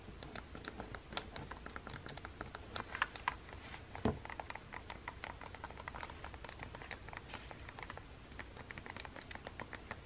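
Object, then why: Plastic handheld game console. A fingertip with long painted nails presses and taps the face buttons of a small, hollow plastic Nintendo Switch game console with red Joy-Cons resting on a table. It makes a steady, rapid patter of short, dry plastic clicks with bright edges, including a slightly louder knock around the four-second mark.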